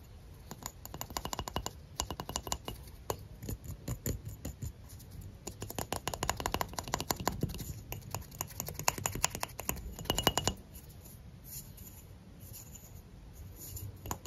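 A thick, solid cylindrical stick of blue sidewalk chalk is held in both hands and tapped and scratched with fingertips and short nails. Quick, dry clicks and scratchy rasps come in dense bursts for about ten seconds, with a faint tone near 2.9 kHz. After that, only softer, sparse ticks remain.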